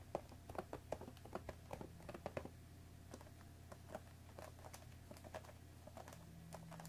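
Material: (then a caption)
Cardboard. Long painted fingernails tap on the top and front of a cardboard Earl Grey tea box. The result is quick, irregular, dry clicks with a light hollow tone and almost no ring, heard over a faint, steady low hum. The tapping is louder and denser at first, then softer and sparser.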